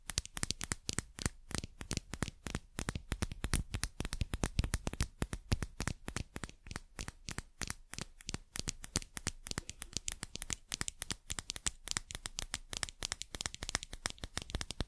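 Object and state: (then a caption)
Metal and rubber dropper cap. Long fingernails quickly tap and scratch a small hollow dropper cap with a shiny metallic collar and white rubber bulb held in the fingers. The result is a dense, rapid stream of short, dry clicks and scratches that stop instantly, bright on top with a soft low thump underneath.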